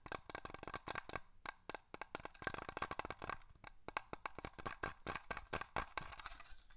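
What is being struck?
Small glass bottle with a cap.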